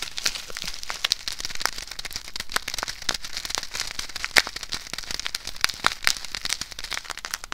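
A small clear plastic bag filled with white, rice-like grains is held in both hands, squeezed, and scratched with long acrylic nails. It makes a steady, dense stream of bright, sharp crinkling and crackling ticks with a few louder snaps, each dying away almost instantly.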